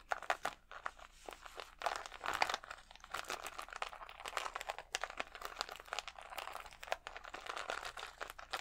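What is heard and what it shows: Fingernails scratch and crinkle a clear plastic sheet of acrylic rhinestone stickers held against the chest. The result is a quiet, dense run of fast, dry crinkling and scratching with bright, crisp edges and almost no low end, rising into busier bursts of crackle throughout.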